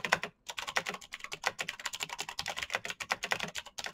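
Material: Plastic.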